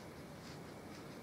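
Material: Nothing is struck.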